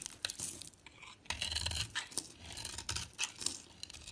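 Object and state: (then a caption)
Bar soap being shaved. A solid oval white bar of soap with a purple polka-dot coating is held in the hand and shaved with a utility knife blade. Bright, crisp scraping strokes rise and fall in quick succession, each sounding like a dry, crumbly tearing with a faint low rumble beneath.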